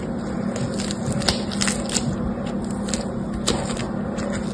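Yellow-green foam bead slime (floam) is stretched into a long strip and sheet between both hands while fingertips press into the beads. It gives a steady, dense crackling with a low hum underneath, broken by a few sharper pops and snaps.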